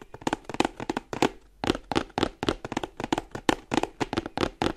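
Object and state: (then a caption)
Cardboard box tapped. A printed cardboard charger box is held upright in both hands while fingers and nails tap quickly along its sides. About 23 short, dry, hollow taps sound in uneven clusters over nearly five seconds, each fading almost instantly, with a brief pause near the middle.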